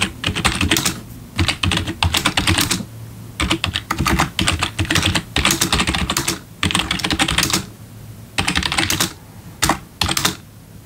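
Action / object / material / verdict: tap / plastic membrane keyboard / plastic / none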